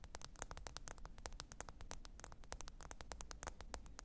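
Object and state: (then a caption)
Smartphone glass screen tapped with fingernails. Long pointed acrylic nails tap and scratch across the glass screen of a small, thin, solid black smartphone lying flat and screen-up on faux fur. A quick, steady run of crisp, bright clicks rings out, each one dying away almost instantly over a soft, low rumble.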